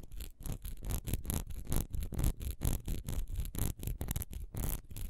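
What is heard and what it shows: Long nails scratch fast across the raised texture on the side of a single solid wax pillar candle, which stands upright and is then held sideways close to the microphone. The clip is a quick, uneven run of dry, rasping strokes, about two per second, each a short bright burst over a low rumble with almost no ring between them.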